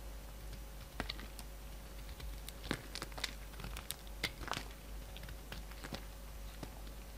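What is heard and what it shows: A hand-sized solid peach bar of soap, held in the hand, is carved with a steel utility-knife blade. Short, crisp scraping and cutting clicks with a bright, crinkly edge are scattered irregularly through the clip. A steady low hum sits quietly underneath.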